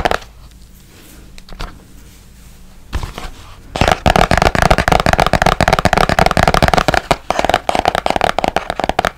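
A small, hollow, white and blue printed cardboard box is held next to the mic, partly hidden behind it at first, and tapped with fingertips and nails. After a quiet opening with a few faint taps, a fast, irregular stream of crisp, hollow taps begins near four seconds. The taps carry a boxy resonance around 750 Hz and continue to the end.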